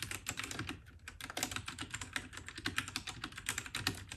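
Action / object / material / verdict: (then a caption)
tap / mechanical keyboard with plastic keycaps / plastic / none. Fingertips of both hands type rapidly on a compact white RK68 (RK855) mechanical keyboard with plastic keycaps. A steady, dense stream of short, bright clacks with a lower thock underneath fills the clip, and each keystroke dies away almost instantly.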